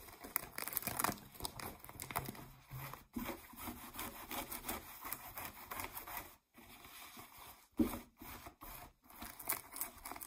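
Long nails scratch the waistband and frayed fabric of distressed blue ripped denim jeans lying flat. The result is a dense, bright, raspy scratching with crinkly texture, sounding soft and close, in uneven bursts broken by a few brief silent pauses.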